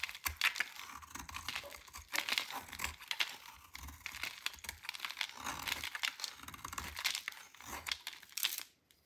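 A solid, dry cream-white JO soap bar is held in the hand and shaved with a metal utility knife blade into crunchy flakes. Repeated crisp, bright scraping and crunching strokes come in dense bursts. The sound falls quiet at the very end.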